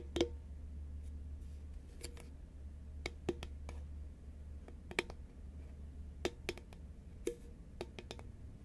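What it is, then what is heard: Cardboard chip tube tapped with nails. A hollow green Pringles paperboard tube, held upright, is tapped along its side with long nails and fingertips. Irregularly spaced, short, sharp clicks carry a hollow tone around 350 Hz and die away almost at once. A steady low hum runs underneath.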